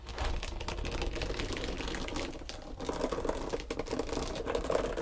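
Long pointed green nails tap and scratch a long, flat, pale pink textured foam back-buffer body sponge. The result is a dense run of quick, dry clicks and scratchy rustles with a faint midrange tone. A low rumble sits underneath throughout.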